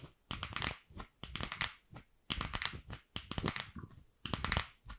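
Long nails tap and scratch the surface of a single empty, fist-sized, pink hollow plastic ball. Quick bright clicks and scratchy crinkling come in clustered bursts separated by short pauses, each with a light hollow low thump beneath.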